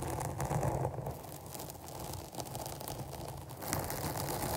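Two hands wrapped around a black foam windscreen covering a large studio microphone, its soft porous foam over a hollow cap, scratch it with long almond-shaped nails. The result is a continuous, dense rustling scratch with a boomy low rumble around 105 Hz and a crackly texture that swells and dips but never stops.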